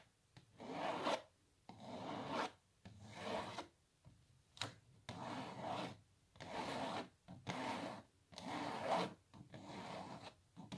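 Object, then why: Printed canvas stretched on a wooden frame. Long natural nails scratch across a small, hollow printed canvas held upright on its wooden frame, making nine separate bursts of dry, raspy scraping. The strokes are midrange with a bright hiss and stop quickly, with brief silences between them.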